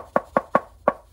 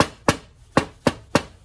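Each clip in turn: First: solid, sturdy bit-set storage box. Second: cheap-sounding steel tool box.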